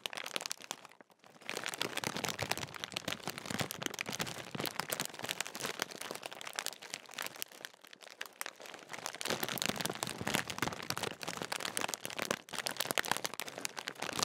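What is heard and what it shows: A large Walkers sharing-size crisp bag made of metallised plastic film, apparently sealed and filled with crisps, is held close and crinkled and squeezed with the fingertips. It makes a dense, bright crackling and crunching that runs almost continuously, with a brief quiet gap near the start. The crisp, dry rustle stays up in the high range, with almost no low end.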